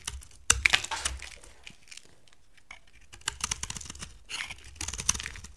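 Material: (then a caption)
Soap. A box cutter blade shaves brittle flakes off a solid dry brown soap bar with gold-coated faces, held in a hand with long dark nails. Bright, crisp scraping and crackling come in short bursts of sharp clicks, separated by near-silent pauses.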